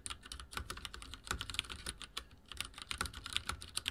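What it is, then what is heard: Plastic mechanical keyboard being typed on. Fingertips of both hands type rapidly on a full-size backlit mechanical keyboard with dark plastic keycaps and linear switches, resting on a wooden desk. A quick, uneven run of short, bright plastic taps with a soft low thud beneath each keystroke, and each tap dies away almost instantly.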